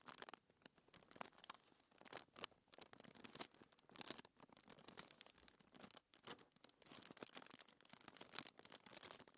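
Fingertips with long nails rub and scratch a thin white paper sheet lying on a table, and the sheet's edge is lifted at the end. The sound is a quiet, dense stream of bright, dry scratching and crinkling made of many quick rustling bursts, with almost no low end.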